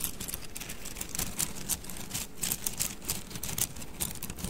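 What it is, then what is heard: Bundle of wooden mikado sticks. A bundle of thin, solid wooden mikado sticks is held horizontally in both hands while the fingers roll and rub the sticks together. This produces rapid, dry, bright clicking over a soft low rumble, with short, quickly decaying taps that come in uneven bursts.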